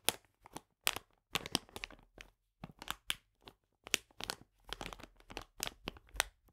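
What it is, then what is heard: Plastic bag of polenta being scratched. Fingernails scratch and fingertips rub a full plastic bag of polenta lying flat, making quiet, bright crinkling and scratching bursts separated by short silences. Each rustle is crisp and dry, with little low end and no ring after it.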